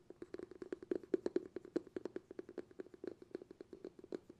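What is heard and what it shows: Fingertips rapidly tap the bamboo lid of a glass jar held in both hands, producing a quick, uneven run of around 37 short, dry taps. Each tap has a hollow tone centered near 363 Hz and dies away almost instantly. The sound is soft and close, with little low rumble.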